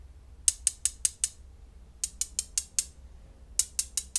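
Small, solid, flat-backed blue glass gems are held in the fingertips and clicked and rubbed against each other above a pile of the same gems resting on bubble wrap. Fourteen sharp, bright glassy clicks come in three quick bursts of five, five and four, each dying away almost instantly over a faint low background hum.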